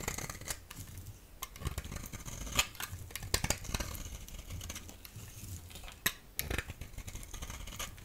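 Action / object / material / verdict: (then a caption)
scrape / hand-held bar of soap / soap / none. A solid yellow rectangular bar of soap, held in the hand, is scraped with a utility knife blade. Soft, crisp scraping runs throughout, broken by sharp, bright clicks and ticks over a low rumble.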